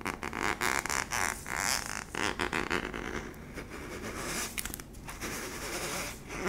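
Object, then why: Plastic tub base. Fingers and nails scratch and rub the flat yellow plastic base of a hollow cylindrical sweetener tub. The result is a steady run of bright, dry, rasping scrapes in quick, uneven bursts, with a faint hollow resonance from the tub body.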